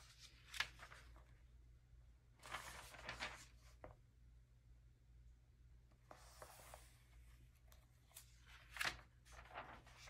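A bare hand smooths and rubs the thin, glossy paper pages of an open early-2000s vintage magazine lying flat on a velvet cloth, then lifts and turns a page. Quiet, bright, papery rustles and crinkles come in short bursts over a faint, steady low hum.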